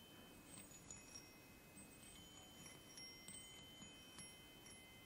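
Fingertips tap and stroke three hollow aluminium chime tubes mounted on a wooden block. Bright metallic tones ring out and sustain over a soft, steady background hiss, with several light strikes spread across the clip.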